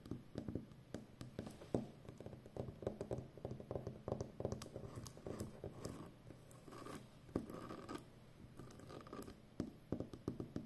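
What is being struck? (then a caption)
Plastic packing tape roll. Long nails scratch and tap the top edge of a full roll of brown plastic packing tape, seen from the side. Many quick, soft clicks and dry scratches follow one another with short pauses. The sound is quiet and mostly low to mid-pitched, with little brightness.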